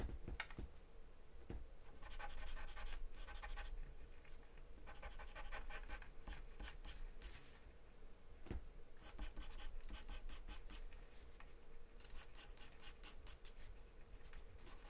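A wooden pencil scratches and scribbles across a thin, flat sheet of taped white drawing paper. Quick bursts of bright, papery scratching come in repeated runs over a steady low rumble, with brief pauses between strokes.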